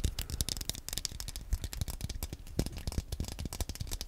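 Fingernails tap and scratch the analog stick area and shell of a small, black, hollow plastic Wii Nunchuk controller held in both hands close to the mic. The result is a dense, rapid stream of short, dry clicks and scrapes with bright, crisp edges and a soft low thump beneath, each tap dying away almost instantly.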